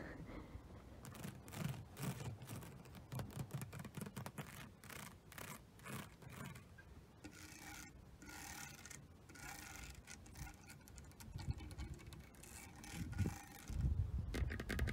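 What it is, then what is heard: Synthetic rattan wicker furniture. A woven synthetic rattan (polyrattan) outdoor furniture panel on a deck, with a white globe lamp beside it, is scratched and rubbed along its weave with long fingernails and fingertips. The result is quiet, irregular, brushy scratching strokes with crisp bright streaks over a low rumble, growing slightly louder near the end.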